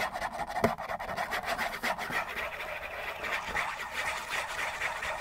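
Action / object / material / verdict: scrape / cardboard tissue box / cardboard / none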